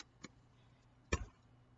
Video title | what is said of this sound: SUPER COOL ICE EXPERIMENT | you can hear it in there that it's slushy